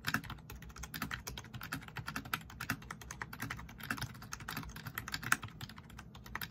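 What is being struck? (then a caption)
Plastic membrane computer keyboard. Fingertips of both hands rapidly tap and press the keys of a black plastic backlit RGB membrane keyboard. The result is a fast, steady stream of short, dry plastic clicks with soft low thuds beneath them, each tap dying away almost instantly.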